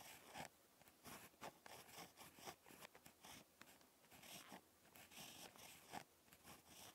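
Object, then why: Ballpoint pen on lined notebook paper. A ballpoint pen tip scratches across lined spiral notebook paper during handwriting. The result is quiet, dry, bright scratching in short, uneven strokes with soft pauses between them.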